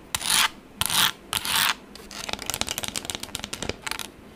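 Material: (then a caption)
Plastic. Long acrylic nails rub and scratch the textured surface of a pink plastic tablet case. Three loud, bright, hissing rubs come first, followed by a quicker run of many short, crisp scratches that fade to a lighter scraping.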